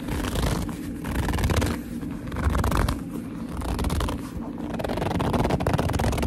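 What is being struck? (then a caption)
Leather handbag. Fingertips grip and squeeze a hollow black leather handbag, creasing the leather. Low, muffled rubbing and squeaky creaks rise and fall in slow waves, with bursts of crinkly, scratchy texture throughout.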